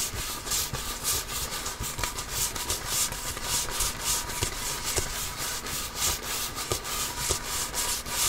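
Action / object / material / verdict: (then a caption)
scrape / composite leather basketball / composite leather / none. A full-size, inflated, hollow Wilson Evolution basketball with a pebbled composite leather surface is held in both hands and scratched and rubbed with the fingertips and nails. The result is a steady, bright, hissy scratching made of quick, uneven strokes that swell and fade at just under two per second, with a faint hollow undertone.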